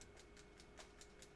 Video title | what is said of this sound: Karin Marker - Real Brushes | You can hear that little roller in there activating the ink.